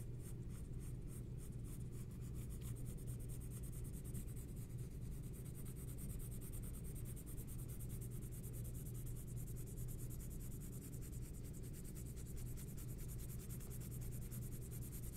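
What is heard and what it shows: A green pencil held in the fingertips scratches short, rapid strokes across a large flat sheet of white drawing paper on a table while shading a portrait face. The result is a quiet, steady, fine scratching texture with a faint bright hiss over a low, muffled rumble, with no separate hits standing out.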